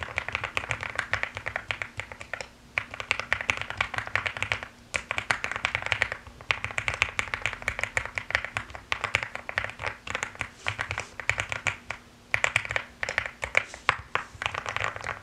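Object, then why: Mechanical keyboard with plastic keycaps. Rapid typing with fingertips and long nails on a pastel mechanical keyboard with plastic keycaps. It gives dense, bright clicky clatter in bursts, with brief pauses near 2.7 s, 4.9 s and 12.2 s. A faint steady low hum runs underneath.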